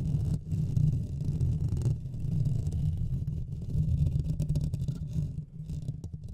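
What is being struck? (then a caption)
Metal mesh microphone grille. Fingertips and nails of both hands continuously scratch and rub the hollow metal mesh head of a Blue Yeti microphone. The result is a dense, steady low rumbling scrape centered around 150 Hz, with faint bright crackles scattered above.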